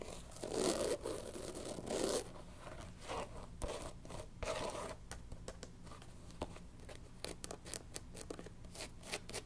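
Long nails scratch the tan rubber bottom of a canvas sneaker's platform sole, making two loud, rasping, tearing-like scrapes in the first two seconds, followed by softer scratching. The shoe is then turned to show its black canvas upper and white sole, and a quick run of short, light clicks and scratches fills the rest of the clip over a low, steady hum.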